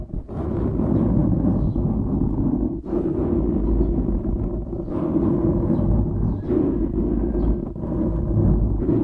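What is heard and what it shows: Fingertips scratch and rub the sides of a dark grey foam windscreen on a microphone. The result is a steady, dense, rumbling scratch that sits mostly in the low range, with no bright content. It briefly dips at a few points as the rubbing strokes change.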